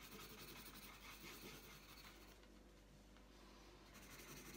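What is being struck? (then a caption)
Wooden coloured pencil on a paper sheet. The tip of a purple wooden coloured pencil rubs back and forth across a thin, flat sheet of printed colouring paper lying on a tabletop. It makes a soft, continuous, scratchy rasp with bright hiss, easing slightly quieter through the middle before picking up again at the end.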